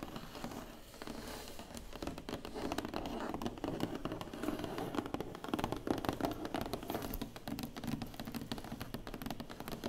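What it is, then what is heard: Cardboard box tapped and scratched. Long nails and fingertips tap and scratch quickly across the lid of a large, closed, hollow black cardboard award box. The result is a steady, dense stream of soft hollow taps mixed with dry scratching and crinkly rasps, with a warm low-mid body and little bright edge.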